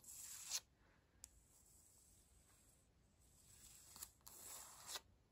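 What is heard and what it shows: Long pointed acrylic nails scratch and tap on a solid, flat, light wood-grain laminate floor. Bright, hissy scratching strokes open and close the clip, with a few sharp, quick taps between them and a quiet pause in the middle. The sound is faint and mostly high-pitched, with almost no low end.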